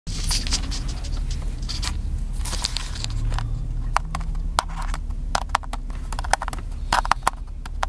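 A small black plastic handheld camcorder with a cable attached and a hollow casing is held in one hand and tapped quickly with the fingertips of the other inside a parked car. Rapid, dry, hollow plastic taps with bright clicks patter over a steady low rumble. The taps become sparser and sharper toward the end.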